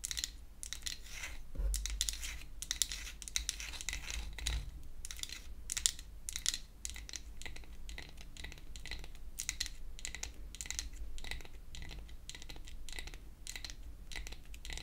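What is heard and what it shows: Long acrylic nails tap and scratch quickly across a pink-painted wooden toy hair dryer, a solid flat piece of wood held upright. The result is a dense, continuous stream of crisp clicks and bright, dry scratching over a steady low hum.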